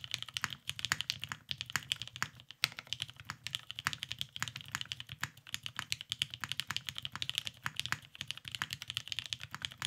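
A beige, cerakoted Salamander tenkeyless mechanical keyboard with lubed vintage black switches and plastic keycaps rests on a desk mat and is typed on continuously with the fingertips of both hands. The result is a dense, steady stream of short, bright clacks centered around 2.6 kHz, each dying away almost instantly, with little low-end weight.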